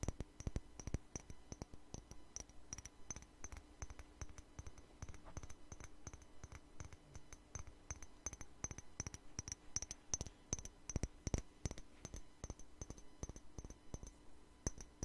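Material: Glass.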